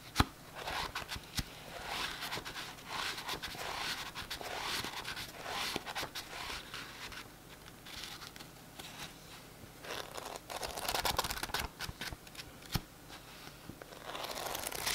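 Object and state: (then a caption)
Paperback book. Fingertips flick and riffle the page edges of a thick paperback book with a glossy cover and scratch along the cover. A soft, dry, bright rustling and scraping runs throughout, broken by sharp little clicks and brief louder bursts of riffling.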